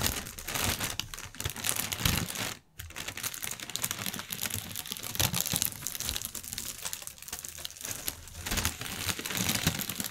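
Fingertips and nails tap, scratch and crinkle the film of a clear inflated plastic air cushion packaging strip on a white table. A dense run of bright, crackling crinkles and quick taps continues almost nonstop, broken only by a brief silence near the three-second mark.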